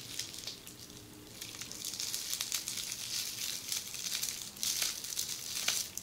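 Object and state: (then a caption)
Plastic bubble wrap. Long polished fingernails scratch and press a flat sheet of red air-filled plastic bubble wrap lying on a surface. The result is a steady, bright crinkling and scratching, dotted with sharp little ticks and crackles at an uneven pace, with almost no low end. It starts softer and grows busier and louder after the first second or so.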